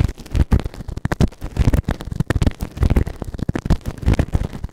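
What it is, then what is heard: Silicone ear microphone. A white plastic ear tool held in fingertips scrapes inside the canal of the right ear of a grey silicone ear-shaped microphone on a round base, soft and solid. The scratching comes through as dense, irregular, muffled thumps and rumbles, almost all low in pitch with very little high sound. Each scrape stops sharply, with no ring.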